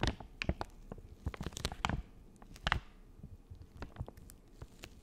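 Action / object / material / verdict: scrape / soft plastic wipes packet / plastic film / none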